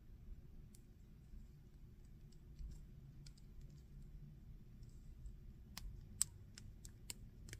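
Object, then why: Small plastic action figure. Fingertips move and rub the jointed limbs and armor of a small, solid, painted plastic Predator action figure held in both hands. Quiet, bright, sharp clicks come from its plastic joints, sparse at first and then quicker toward the end. A steady low rumble sits underneath throughout.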